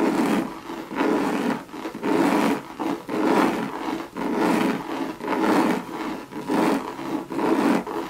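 Long red nails scratch the body of a hollow Louis Vuitton monogram coated-canvas bucket bag. Rough, rasping strokes swell and fade about once a second in a loose rhythm, with a hollow low-mid body around 270 Hz and a thinner scratchy hiss on top.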